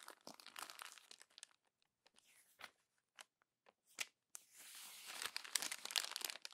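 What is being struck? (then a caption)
Glossy paper magazine pages. Hands crumple successive pages of a glossy paper magazine into a growing bunch at the spine. Bright, crisp crinkling and tearing-like crunches come in bursts, with sparse pops and quiet gaps in the middle. The clip ends in a denser, sustained rustle of crumpling paper.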